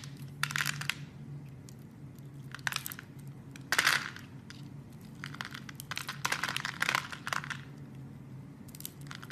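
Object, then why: Soap bar scraped by a blade. A blade scores a solid red soap bar and cuts pieces off it, making a series of short, crisp scraping and crunching bursts that are bright and dry. Quiet pauses fall between the cuts, and a faint steady low hum runs underneath throughout.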